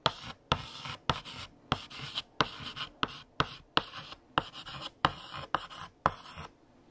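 A hand writes on a large, flat black chalkboard with a pale yellow chalk stick. Each stroke starts with a sharp tap of chalk against the board, followed by a bright, scratchy drag lasting under half a second, with short silent gaps between strokes.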